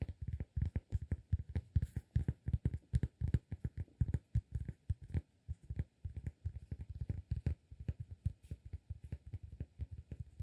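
A solid round cork disk held between both hands, its faces and edge tapped and scratched with the fingertips. Dozens of quick, soft, dull low thuds come in irregular bursts across the clip, each dying away almost instantly with no ring, under faint scratchy texture.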